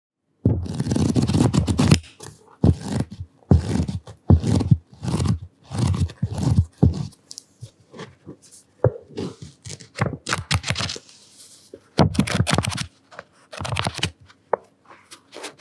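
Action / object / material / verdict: scrape / paperback paper book / paper / none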